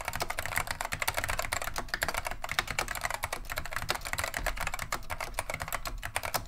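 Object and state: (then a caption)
Plastic mechanical keyboard being typed on. Both hands type continuously with the fingertips on a beige plastic vintage Wang 725 mechanical keyboard fitted with Alps SKCM Neon Green/Lime switches. A rapid, steady stream of sharp, bright plastic clicks and clacks sounds over a low thump from each keystroke bottoming out. Each key sound dies away almost instantly.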